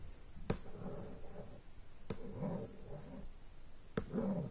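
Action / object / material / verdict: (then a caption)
tap / shrink-wrapped cardboard board game box / cardboard / none. Fingertips and long nails tap and scratch on the lid of a sealed, shrink-wrapped cardboard board game box lying flat. Three sharp taps stand out, each followed by soft, low scratching and a faint crinkle of the plastic wrap.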